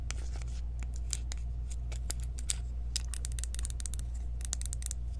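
Long nails tap and scratch along the ridged rim of a small, round, clear plastic jar of loose powder, which is open and full. The result is quick, irregular, bright clicks and scrapes over a steady low hum.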